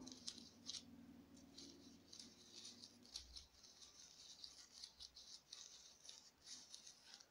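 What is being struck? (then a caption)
Small artificial warty gourd, foam or plastic. A small, bumpy orange foam craft warty gourd is held in one hand and tapped and scratched with long nails. Quiet, bright, crisp clicks and dry scratching rustles come in an irregular series, with a faint low tone underneath during the first few seconds.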